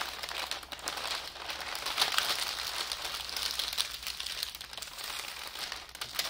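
A large thin sheet of white tissue wrapping paper lies flat on a table while fingertips and palms smooth, fold and crinkle it. Continuous bright, papery crinkling and soft rustling fill the clip, with a few sharper crackles standing out and almost no low end.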